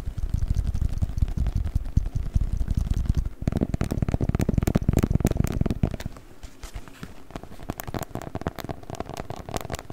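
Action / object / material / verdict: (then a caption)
scrape / beeswax-coated cotton wrap / waxed cotton / none. A rolled, patterned beeswax-coated cotton wrap is squeezed and crinkled with the fingers close to the mic, giving dense, rapid crackles over a heavy low rumble. The crinkling is loudest and boomiest for the first six seconds, then drops to a quieter, thinner crackle that continues to the end.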